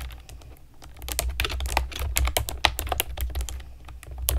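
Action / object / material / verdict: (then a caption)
tap / plastic keyboard with round keycaps / plastic / none. A pastel plastic keyboard with round keycaps is typed on with long nails and fingertips, giving a quick run of sharp, bright clicks and taps that ring very briefly. A steady low hum runs underneath the typing.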